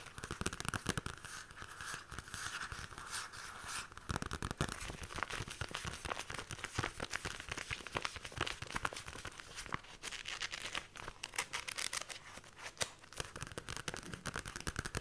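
Long lilac nails rapidly scratch and tap the worn paper cover of an old, thin softcover Diamond Comics "Billoo" digest. The result is a dense, continuous stream of dry, papery scrapes and crisp taps, bright and crinkly with almost no ring after each contact.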